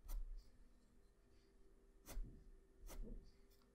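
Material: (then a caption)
Paper. A graphite pencil held close up makes short scratching and shading strokes on a flat white sheet of drawing paper. Brief bright scratches stand out from a quiet, low rumbling background, each fading almost at once.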